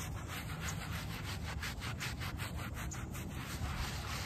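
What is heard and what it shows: A small wooden-backed bristle brush scrubs in circles over a small, soapy, very muddy shaggy fabric doormat. It makes a steady, rhythmic rasping swish with bright bristle scratches over a low, dense rumble.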